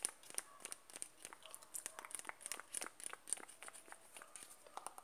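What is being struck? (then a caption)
Plastic cream jar. Fingertips tap the side wall of a closed white-and-blue 100 g Nivea plastic cream jar in a quick, uneven series. Each tap is a short, dry, quiet click with a bright, high edge and almost no ring, with soft crinkly texture between taps.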